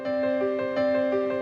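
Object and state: Nothing is struck.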